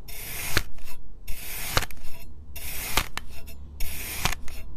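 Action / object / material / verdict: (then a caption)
scrape / packed kinetic sand disc cut with a steel knife / kinetic sand / none. A solid purple molded disc of packed kinetic sand is cut into a grid of thin slices with a steel knife. Each pass of the blade makes a soft, bright rasping scrape with sharp little clicks, over a steady low hum.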